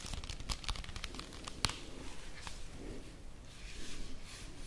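Long nails scratch and tap along the face and edges of a small, flat, full Vanini chocolate bar cardboard sleeve, held close. Dry, crinkly scratching runs throughout, broken by quick, bright taps, with one sharper tap near the middle, over a soft, low rumble.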